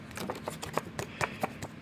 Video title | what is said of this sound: Note3, note 4, note 5, note 8 and 9...iPhones and S8s protectionotterbox/temper glass protection | i just cannot stand the little clicking or tapping sound whenever you start texting